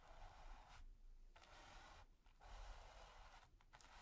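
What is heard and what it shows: A stiff bristle brush tip is scratched across a flat, taut, textured primed canvas, producing soft, dry, bright scraping strokes separated by brief pauses. A faint low rumble sits underneath throughout, and the overall level stays quiet.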